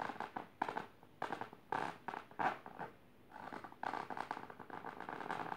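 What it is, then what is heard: Fabric-covered box. Long painted nails on both hands scratch a firm box covered in pink patterned fabric in rapid, dense strokes. Quiet, dry rasping comes in short bursts with brief pauses, centred in the mid range and with little low end.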